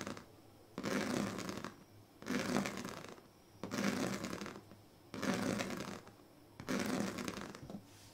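The pointed tail of a pink plastic comb scratches across the strips of a large, flat woven plastic sleeping mat in five slow, separate strokes. Each stroke is a roughly one-second rasping scrape with a low, buzzy body and bright, hissy edges, separated by short quiet pauses.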